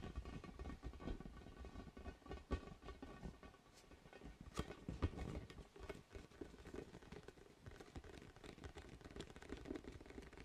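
Fingertips tap and scratch a large orange, hollow, inflated vinyl spiky ball held against the mic. The result is a quiet, dense patter of soft, dull thumps and rubbery scratches, mostly low in pitch and quickly damped, with a few slightly louder taps standing out.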